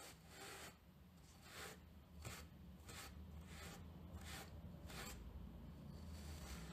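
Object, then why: Cotton terry towel brushed with a plastic bristle brush. A round green plastic-backed brush with stiff white bristles, held by its handle, is scrubbed back and forth over the pile of a grey terry towel on a table. Repeated bright, raspy scratching strokes sweep in and out over a steady low hum.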